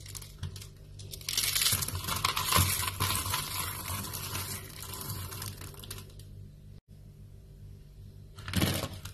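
Dry pink soap shavings are crushed in fists, giving a dense, bright crackling crunch that swells loudest in the first half over a steady low hum. A pile of the flakes is then pressed with flat hands, making softer, muffled crunching that ends in one last louder crisp burst.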